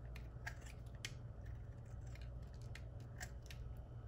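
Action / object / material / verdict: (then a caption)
scrape / bar of soap cut with a blade / soap / none. A small, solid white rectangular bar of dry Ivory soap is held in one hand and carved with a metal utility knife blade, shaving off curls. Short, bright scraping and cutting strokes crackle intermittently over a steady low hum, each stroke fading quickly.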